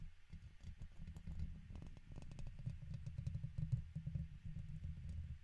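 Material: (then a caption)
Metal mesh. A red plastic guitar pick scratches the left side of a silver microphone's hollow metal mesh grille. The result is a dense run of quick, dull scraping ticks with a deep, muffled rumble underneath and faint bright clicks on top. The sound continues without a break for the whole clip.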